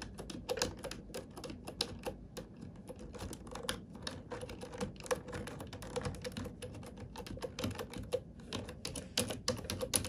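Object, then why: Plastic computer keyboard. Long nails and fingertips type steadily on a black full-size plastic computer keyboard with hollow plastic keys. Rapid, uneven clicks and clacks sound crisp and bright, with a hollow plastic knock underneath. Each keystroke dies away almost at once.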